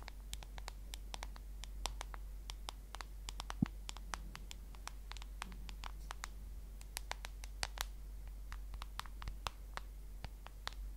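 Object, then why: Smartphone with glass screen and plastic case. Long nails tap and scratch across the glass screen and plastic case edge of a solid smartphone held horizontally. Quick, bright clicks fall in an irregular stream over a faint scratchy rustle and a steady low hum. Each tap dies away almost at once.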